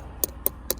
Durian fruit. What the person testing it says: แบบนี้ยังไม่สุกซะทีเดียวนะครับยังไม่สุก